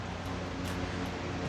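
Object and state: Nothing is struck.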